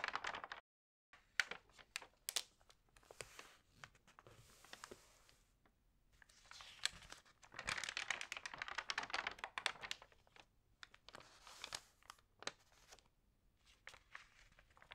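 Hands with long nails rub and flip the glossy pages of an open printed magazine lying on a table. The result is quiet, bright crinkling and rustling with sharp paper snaps and almost no low end. A brief silent gap comes near the start.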